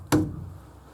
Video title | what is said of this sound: Quarterly Report: Model A Mechanics Log #8 | when you knock against it now, it's a lot more dampened.